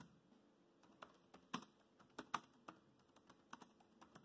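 Fingertips type on a laptop keyboard with black plastic keys, tapping out about a dozen short, dry clicks at an uneven pace. The clicks are quiet and crisp with almost no ring, and two of them near the middle land noticeably louder than the rest.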